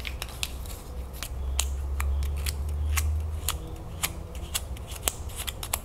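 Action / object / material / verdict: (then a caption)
tap / glass jar with paper label / glass / none. Long nails tap and scratch the paper label and glass of a full glass salsa jar held sideways, close up. A quick, uneven series of sharp, bright clicks and short, dry scrapes sits over a steady low rumble.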